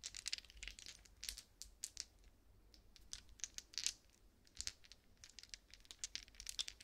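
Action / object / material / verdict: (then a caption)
shake / resin polyhedral dice / resin / none. A set of small solid resin polyhedral dice is shaken between pressed-together palms, then held in open cupped hands over a soft blanket, the dice rattling against each other. Quiet, bright, clicky clatters come in irregular bursts, each tick dying away almost instantly, with little low end beneath.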